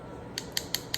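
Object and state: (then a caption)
Dry, hardened acrylic nail. An acrylic nail made with a low-odor clear monomer is tapped four times, giving short, sharp, high-pitched clicks that die out almost instantly over a faint low background hum. The crisp tapping shows the acrylic has dried and hardened.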